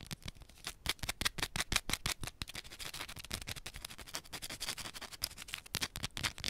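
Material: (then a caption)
Soap. Long pointed nails scratch quickly across a small, solid yellow bar of soap held in one hand. Rapid, uneven, dry clicks and scrapes, bright and crisp around 2.4 kHz, each cutting off instantly with no ring, over a faint hiss.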